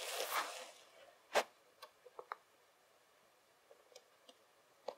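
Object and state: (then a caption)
Loose kinetic sand. Fingertips and palms rake and rub a pile of loose kinetic sand flat on a table. A soft, hissy grainy scrape opens the clip and fades, followed by a sharper gritty sweep and a scattering of small, quiet crunchy ticks and rubs. The sand is left smoothed out in near silence.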